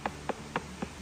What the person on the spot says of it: this one sounds pretty dull, so I'm going to say it's a plastic pipe